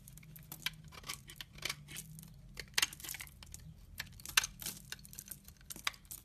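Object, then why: Laundry soap bar. A utility knife blade scrapes the corner and edge of a solid brown laundry soap bar held in the hand. The sound is quiet, crisp and bright: dry scraping and crackling broken by many short, sharp flicks of shaved soap, over a faint low hum.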